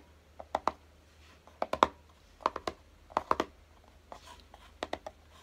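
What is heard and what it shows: Fingertips tap and scratch the lid of a small, hollow, closed kraft-cardboard box lying on a dark table. About fourteen quiet, dry, hollow taps come in clusters of two or three, each dying out almost at once, with faint scratching between them. Near the end the box is lifted slightly in both hands.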